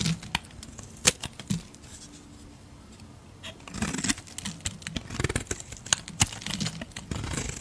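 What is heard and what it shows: A metal utility blade scrapes and shaves flakes off a solid white soap bar held in a hand with long red nails. Crisp, bright scraping and shaving strokes come in sharp bursts, go quiet for about two seconds, then pick up again in a dense run of rapid scrapes.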